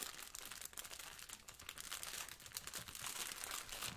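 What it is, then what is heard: Plastic-wrapped sponge. Yellow rubber-gloved fingertips press and scratch a blue sponge in a clear plastic wrapper, with a plastic apron nearby. The result is a steady, quiet stream of bright, dense crinkling and scratchy crackles that barely ring out, with little low end.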